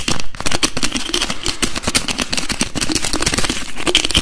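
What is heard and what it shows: A translucent blue plastic bottle holding liquid, with a screw cap, as fingers rapidly tap and twist the cap. It makes a dense, fast stream of sharp plastic clicks and crackles with bright overtones and a low thumping body, steady and loud throughout.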